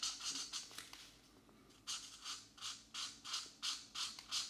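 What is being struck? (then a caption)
Felt marker on paper page. A brush or felt marker tip is rubbed firmly back and forth over a paper coloring book page held flat by one hand, making eleven bright, hissy scratching strokes. A few quick strokes come first, then a short, quieter pause, then a steady run of evenly spaced strokes.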